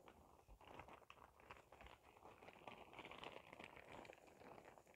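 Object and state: Plastic shower cap crinkled.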